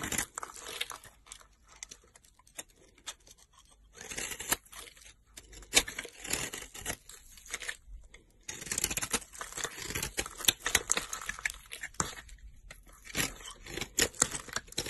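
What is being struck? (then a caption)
Soap bar cut with a blade. A utility knife blade, held by a hand with long nails, cuts into a solid pink soap bar with a dark glitter coating. Dense, bright, crackly scraping and tearing sounds come in bursts, with quieter pauses between the cuts.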